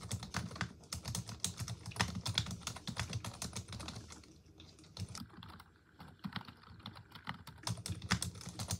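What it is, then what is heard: Plastic computer keyboard being typed on. A full-size black plastic computer keyboard on a wooden desk is typed on continuously with long acrylic nails and fingertips, its hollow plastic keys pressed rapidly. The result is a dense stream of short, dry clicks with a hollow low thump under bright tapping edges, easing into softer, sparser taps midway before picking back up.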